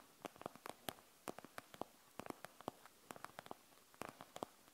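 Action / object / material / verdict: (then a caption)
tap / plastic gel bead eye mask / plastic / none. Long nails scratch across the plastic shell of a panda-shaped gel bead eye mask filled with gel beads. About 21 short, dry, quiet scratching clicks come in irregular bursts; they are mid-pitched with a bright edge and no ring, over a low hiss.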